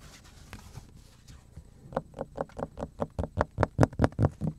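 Fingertips and nails tap and scratch the scratched face of a large, flat, solid black plastic cutting board held in both hands in front of the chest. Faint, soft scratching gives way after about two seconds to a steady run of dry, hollow taps with a mid-pitched knock. The taps grow louder toward the end and cut off quickly with no ring.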